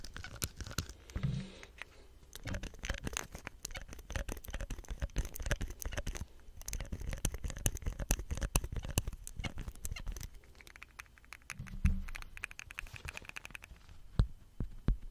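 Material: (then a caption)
Plastic. Fingertips grip, rub and scratch the ribbed plastic collar of a hollow green plastic soap pump head with a white stem, and press the pump. Dense, fast scratchy rubbing and crackling fills the clip, mostly low and muffled with bright ticks on top. Short low creaking tones stand out near the start and again near the end.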